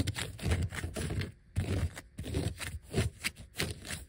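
Fingertips and short nails scratch and tap across a flat, thin yellow vinyl sheet of die-cut letter and number stickers, with some letters peeled off. Dense, papery scratching bursts come in uneven waves, each with a heavy low thump and a faint bright crackle, and break off briefly between strokes.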